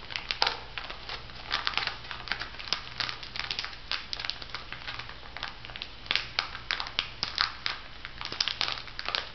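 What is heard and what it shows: A plastic foil sheet-mask packet with a pig design is held up in both hands and squeezed and crumpled by fingertips and nails. The result is dense, bright crinkling made of many quick, sharp crackles that rise and fall over a low, steady hum.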